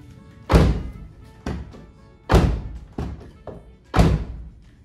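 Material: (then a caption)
Steel. A Nissan Caravan van door, its steel panels fitted with vibration-damping sheets, is shut six times, giving deep, short thunks with little ringing, three loud and three softer. After the damping, the closing sound is completely different and feels heavier.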